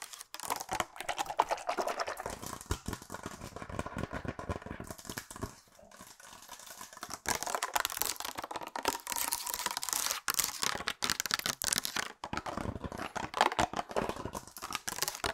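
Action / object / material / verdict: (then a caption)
tap / small hard plastic case / plastic / none. A small, elongated, hollow blue hard plastic case, likely a glasses or pencil case, is held in both hands and fast-tapped with long acrylic nails. The result is a dense stream of crisp, dry clicks with a hollow midrange tone near 900 Hz, a bright top and almost no low end. The taps ease off briefly around the middle before picking back up.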